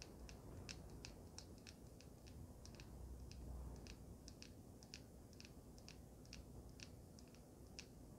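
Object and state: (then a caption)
Resin and metal vape mod tapped with fingernails. A small handheld resin and metal vape mod, with a solid resin body and black mouthpiece, is held upright and tapped and scratched with long pink nails. Quick, bright clicks and scratches come in an irregular rapid patter over a steady low rumble, each tick dying away almost instantly.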